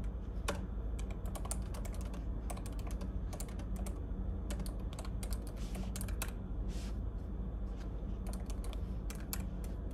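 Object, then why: Plastic laptop keyboard. Fingertips type on the plastic keys of a silver laptop resting on a table with papers and highlighters. Quick, irregular bursts of bright, clicky key taps ring out over a steady low hum.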